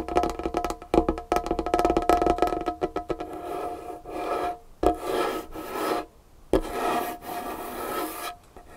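Long fingernails tap and scratch across a large, solid dark-wood tabletop. A quick run of crisp taps opens the clip, then it shifts into longer rasping scratch strokes with short pauses and a couple of isolated sharp taps. The sound has a woody midrange ring.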